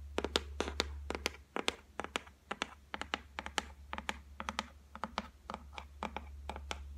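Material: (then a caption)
Laminate. Long fingernail tips tap rapidly on the flat top of a solid white laminated shelf board, producing about thirty-two sharp, dry clicks in irregular bursts. Each tap is brief and bright with almost no ring, over a steady low hum.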